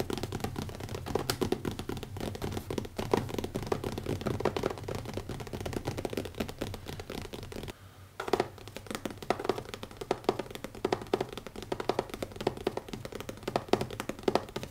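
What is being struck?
Leather notebook cover.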